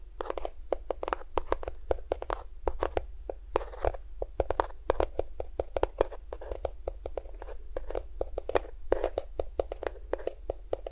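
A small cream-yellow plastic squeeze tube of lotion, hollow and at least partly filled, is tapped rapidly with fingertips and nails close to a binaural microphone. The result is a steady stream of quick, dry, clicky taps with a hollow plastic tone around 500 Hz, over a constant low rumble.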